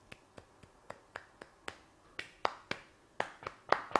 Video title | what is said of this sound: How to make Venezuelan Arepas - ABOUT THIS MUCH with Ivan Aristeguieta | They're gonna have a hollow sound, like a little drum.